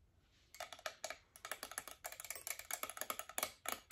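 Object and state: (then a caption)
Metal twin-bell alarm clock. Long acrylic nails tap the bells, casing and glass face of a hand-sized chrome metal twin-bell alarm clock. After a quiet half-second, about twenty quick, bright, clicky taps follow in irregular bursts, each ending almost at once with little ring.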